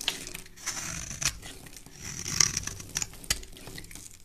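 A metal blade scrapes a hand-sized, solid layered yellow and white bar of soap held in a hand with dark-painted nails, peeling it into curled shavings. Bright, crisp rasping strokes and sharp little ticks come in quick bursts, with little low end and almost no ring after each cut.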